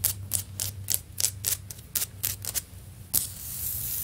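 Long nails on clawed fingers tap and scratch a solid, stone-pattern ceramic floor tile. About twelve sharp, bright clicks ring briefly over a faint low hum. A final tap gives way to a steady, hissy scratching.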